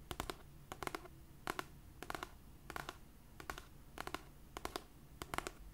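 Long purple nails tap and scratch the cover of a cream paperback copy of "It Ends With Us," a solid paper book held upright. Nine quick bursts of two to four dry, bright clicks sound over a steady low background, each dying away almost instantly.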